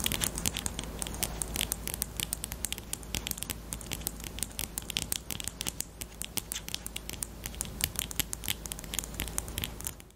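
Long painted nails rapidly tap and scratch a small hollow pink plastic highlighter with a black cap, held close. Dense, bright clicking taps and scratchy strokes run steadily over a low, constant hum, fading slightly at the very end.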